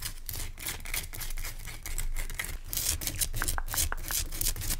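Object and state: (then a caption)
Rock salt lamp. Fingertips and short-to-medium nails scratch and tap a large, pale, whitish-clear rock salt lamp, a solid crystal chunk, held close. The result is a steady stream of bright, dry scratching rasps over a low rumble, with a few short, pinging taps near the end.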